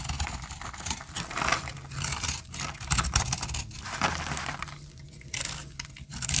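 A metal utility-knife blade scrapes the edge of a hand-sized solid bar of dry, peach-colored soap held in the hand, shaving it into powder. It makes a dense, crumbly, bright scratching and crinkling sound in continuous strokes, with short pauses near the end.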